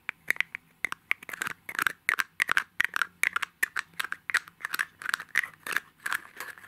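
Fingernails repeatedly tap and scratch the shell of a palm-sized, hollow, gold mirror-finish egg-shaped compact held in both hands. About 27 sharp, bright clicks and brief scratches stand out, each dying away almost instantly with a light tinny ring around 1.6 kHz and no low-end weight.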